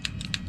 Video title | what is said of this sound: WE 1911 Gel Blaster Maintenance. | when you have that pistol together and you shake it you will actually hear a rattle